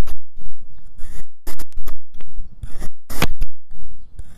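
A white ceramic knife fitted with a clip-on mic cuts slices from a solid cylindrical log of marbled pink and yellow kinetic sand. Repeated bursts of crisp, grainy slicing and scraping are heard, each with a bright, gritty texture over a low, soft thud, separated by short quiet gaps.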